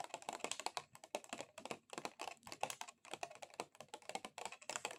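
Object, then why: Plastic object. A plastic object is tapped rapidly with extra-long acrylic nails, producing fast, dry, clicky taps like typing on a computer keyboard. The clicks are bright and short, stopping almost instantly with no ringing, and carry almost no low end.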